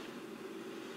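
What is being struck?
Nothing is struck.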